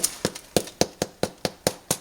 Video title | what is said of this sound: BREAD BAKING | Nice and hollow, and that's what we're looking for.